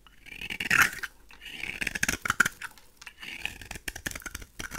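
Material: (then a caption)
Soap. A pink rectangular "Весна" bar of solid dry soap, held in the hand, is shaved with a craft knife blade, coming off in crumbly flakes. Close, dry scraping and crunching strokes come in uneven bursts. They carry bright, crisp high-end texture and stop short with no ring.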